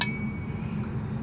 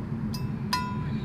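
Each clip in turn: First: nickel-plated flute headjoint that rings when tapped. Second: gold flute headjoint, rings when tapped.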